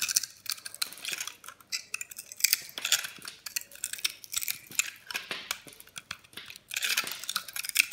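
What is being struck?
Bar soap scraped with a blade.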